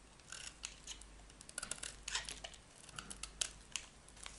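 A metal utility knife blade scrapes and shaves curls off a solid, dry yellow bar of soap held in the hand. Quiet, crisp scraping and cutting strokes come in an irregular series, each bright and short with almost no ring.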